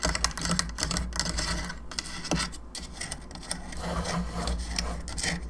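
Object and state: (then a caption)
Plastic skull lamp tapped and scratched with nails. Long nails tap and scratch around the jaw, cheeks and sides of a hollow plastic skull candelabra lamp. Rapid, dry clicks blend with raspy scraping over a steady low hum.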